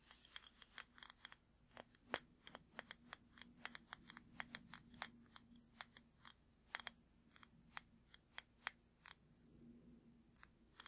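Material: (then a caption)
Glass. A large glass jar candle with a glass lid, full of red wax, is held close and tapped with fingertips and nails. A quick, irregular run of sharp, bright clicks and ticks follows, each dying away almost instantly, over a faint low hum.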